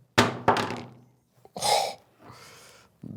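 An Infinix Note 60 Pro smartphone, with a Gorilla Glass 7i front and a plastic back, is dropped screen-first from about 3 to 4 feet. Two sharp thunks land in quick succession, followed by softer, noisier sounds. The phone comes through undamaged, with nothing sounding loose or broken.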